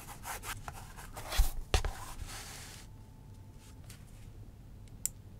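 The metal tip of a wooden-handled awl scratches and scribes across a flat, solid vegetable-tanned leather sheet on a cutting mat, held down by the fingertips of the other hand. Dry, bright scraping strokes rasp over the surface, with a couple of sharper scratchy peaks in the first two seconds. The sound then fades to a quiet hiss, ending with a faint tick.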